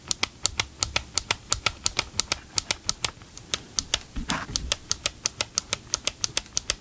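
Nitrile-gloved fingertips tap the hollow, hard plastic motor housing of a large green and grey Ryobi cordless chainsaw held upright beside the mic. A quick, steady run of sharp, bright clicks repeats throughout, each dying almost instantly. Around the four-second mark a softer, fuller rubbing sound briefly joins in.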